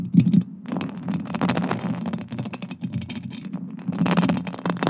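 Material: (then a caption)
Metal. Long acrylic nails scratch and tap across a silver metal mesh microphone grille, making a dense run of quick, dry ticks and scrapes. A heavy, boomy low-mid rumble sits under the brittle bright scratching throughout, with louder flurries at the start and near the end.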